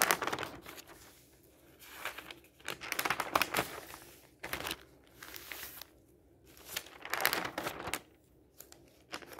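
Fingertips lift and flip the thin sheets of an open newsprint newspaper resting on a table, making bursts of bright, papery rustling and crinkling. Louder swells of crackle come as each page turns, with quiet pauses between them.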